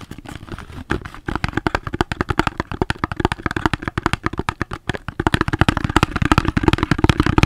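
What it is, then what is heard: Cardboard box tapped with fingers. A soap's cardboard box is tapped with the fingers, giving a rapid, irregular run of short, dry, dull taps with a low thump and almost no ring. The tapping grows louder and denser for the last couple of seconds.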